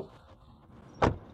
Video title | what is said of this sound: KGM Actyon 2025 Revue | Ça sonne assez solide, vraiment bien.